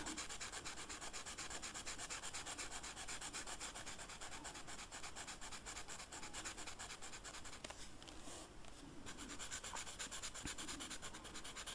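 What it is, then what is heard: Velvet-flocked paper rubbed with a felt-tip marker. The felt tip of a purple Sharpie marker scratches and rubs across a flat black velvet-flocked paper coloring sheet while coloring. A steady, soft, bright scratchy hiss repeats in quick, uneven strokes, thinning briefly around the eight-second mark before resuming.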